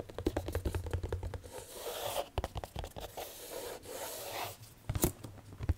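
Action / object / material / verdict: scrape / cardboard jigsaw puzzle box / cardboard / none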